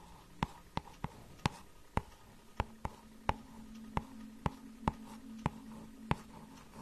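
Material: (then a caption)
Cardboard. Long nails tap and scratch the glossy cardboard cover of a small hardcover children's book. Thirteen sharp, dry clicks ring out at uneven intervals over a faint scratchy background and a low steady hum.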